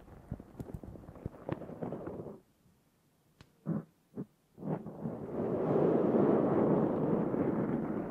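Long nails on both hands scratch a black foam windscreen on a Zoom H6 recorder. Crackly, ticking scratches fill the first two seconds, then a near-silent pause broken by a few short rasping strokes. A steady, louder, dense scratching builds and lasts to the end, with a muffled, low-mid sound.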